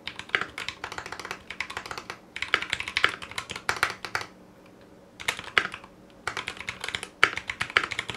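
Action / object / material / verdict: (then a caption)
tap / mechanical keyboard with ABS plastic keycaps / ABS plastic / none. A foam-lined 60% Clueboard mechanical keyboard in a metal case, with Zealios V2 62g switches, GMK ABS plastic keycaps and a coiled cable, is typed on with the fingertips of both hands. Bursts of quick, short, crisp keystrokes clack brightly, broken by brief pauses near the two-second mark, in the middle and before the last run. Each key tap is dry and dies away almost instantly, with little low-end thump.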